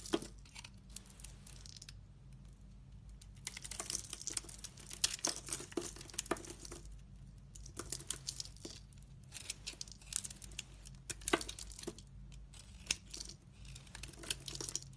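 A solid red bar of soap with a black pattern and a glitter core, held in the hand, is shaved into curls with a metal utility knife blade. Crisp, bright scraping and crinkling strokes come in quick bursts with short pauses, over a faint steady low hum.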